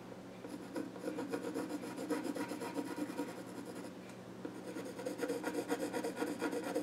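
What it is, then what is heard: Pencil scratching on a wooden stool top. A pencil scratches and rubs along the grain on the flat top of a small wooden child's stool while drawing. Quick, scratchy rasping strokes come at about two per second in two bursts, separated by a brief quieter lull near the middle.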